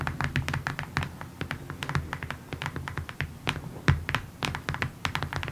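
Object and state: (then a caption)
Cardboard box tapped with nails. Long nails tap rapidly on the surface of a long, rectangular, printed cardboard kit box that is hollow. The result is a quick, uneven stream of short, dry clicks with bright tops and a soft hollow thump, over a steady low hum.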